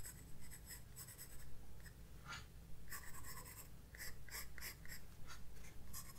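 A graphite pencil held in the right hand sketches a moth on white drawing paper in a large spiral-bound sketchbook lying flat on a wooden desk. Short, bright, papery scratching strokes come in irregular bursts over a steady low hum.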